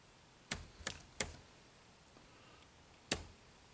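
Fingertips type on the dark plastic keys of an HP laptop keyboard, giving four sharp, bright key clicks. Three come in quick succession and a fourth follows after a pause. Each click dies away almost instantly over a faint, steady background hiss.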